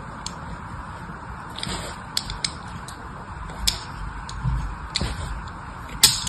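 A small metal blade scratches crosshatch lines into a solid rectangular green bar of soap held in the hand. Short, bright scraping ticks and crisp scratches come at irregular intervals over a steady low background hiss.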